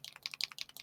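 A plastic ink reinker bottle is shaken so the loose metal mixing ball bearing inside rattles freely, which shows it can mix the pigmented or metallic ink. About eight quick, dry, bright clicks are heard in under a second, each dying away almost at once.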